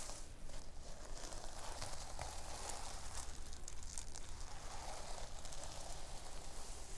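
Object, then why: Fabric notebook cover covered in sequins. Long nails scratch and rub the pink sequin fabric cover of a thick, solid notebook resting on a wooden table. The result is a continuous, dense, crackly rustle with bright scratchy texture over a steady low rumble, never separating into distinct hits.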